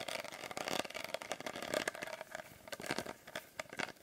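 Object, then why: Small glass bottle. Fingernails tap a small glass bottle with a blue glitter label close to the microphone in a rapid, uneven run of sharp clicks. Each tap is bright and brief with a faint glassy ring around 630 Hz and almost no low end.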